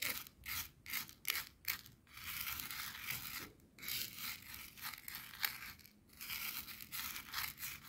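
Clear coarse bath salt crystals on a white plastic cutting board are stirred and scraped with the tip and then the side of a wooden skewer. The result is bright, gritty scratching in quick, uneven bursts with brief pauses between strokes, with little low end.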